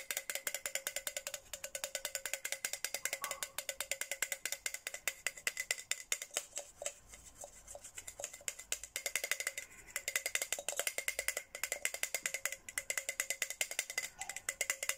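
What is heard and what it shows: A hollow white and pink Hello Kitty plastic tumbler is tapped on the outside and inside with a red plastic straw, producing a rapid, steady stream of light, bright clicks. Each tap is dry and short with almost no ring, carrying a hollow tone around 2.1 kHz and no low end. The tapping grows softer and less regular for a stretch in the middle before returning to crisp, even clicks.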